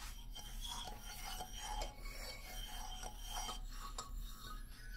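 Fingernails scratch along the solid hardwood bars of a wooden xylophone lying flat, making a soft, dry rasping sound. Faint tones ring from the bars over a steady low hum, at a quiet, even level throughout.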